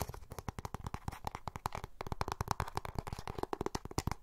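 A small, hollow, closed, oval beige plastic makeup compact is held in both hands and tapped and scratched with fingernails around its rim and lid. About 35 quick, quiet, dry taps come in an uneven patter, each a short hollow knock with a low thump and a clicky midrange, over a faint scratchy rustle. The taps die away almost instantly.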